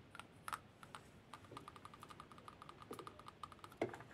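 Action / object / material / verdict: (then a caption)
tap / lacquered wooden spoon / wood / none. The small solid bowl of a Khokhloma-painted lacquered wooden spoon, held in the palm with a pearl bracelet on that wrist, is tapped and scratched with the fingernails of the other hand. A quiet, steady run of light, dry clicking taps comes through, each with a brief, faint ringing tone and a few louder knocks mixed in.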